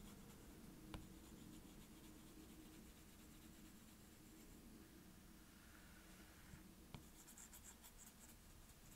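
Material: Glass.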